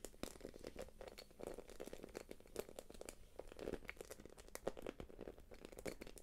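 A small, light-blue, glossy quilted plastic purse is held upright while long nails tap and scratch across its quilted face. The result is a steady stream of quiet, crinkly clicks and scratchy rustles, with many sharp taps standing out from the continuous texture.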